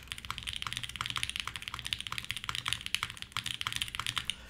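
Steady two-handed fingertip typing on a red-cased 60% mechanical keyboard with white plastic keycaps and an aluminum plate. It produces a rapid, continuous stream of bright, crisp clacks that cut off almost instantly, over a faint low hum.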